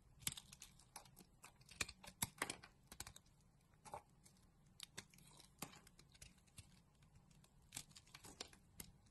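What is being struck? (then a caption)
Solid soap bar. A pink solid bar of soap is shaved into strips with a box-cutter blade. Each cut makes a short, crisp, bright scraping crunch with almost no ring, repeating unevenly over a quiet low hum.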